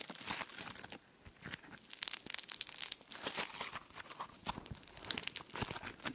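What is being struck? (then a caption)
Foam slime with polystyrene beads. A handful of soft, solid pink foam slime (floam) with tiny polystyrene beads is squeezed and pulled apart by fingertips close to the microphone. It gives off dense, bright crunchy crackling and sticky tearing pops, with a brief quiet pause near the one-second mark before the crackling picks up again.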